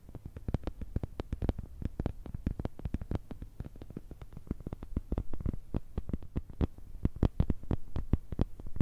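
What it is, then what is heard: Plastic phone case. An empty, transparent, thin plastic smartphone case is held in both hands and tapped with long red nails. The result is a rapid, uneven run of short, dry clicks over a low background rumble, with each tap dying out almost instantly.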